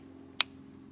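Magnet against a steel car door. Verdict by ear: Solid.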